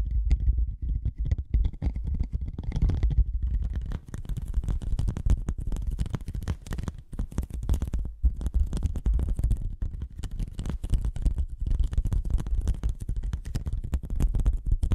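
A thin white cardboard sheet bent into a hollow curved tube is tapped and scratched with long nails and fingertips. Dense, rapid taps and scratchy clicks run continuously over a deep, hollow, booming low rumble, with bright crackling edges throughout.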